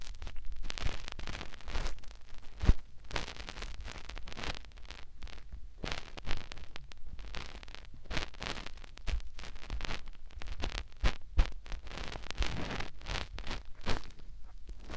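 Fingertips rub inside the white silicone ear on the other side of a binaural microphone. The result is close, muffled rustling and scratching that is mostly low rumble, with bursts of broadband friction swelling and fading throughout.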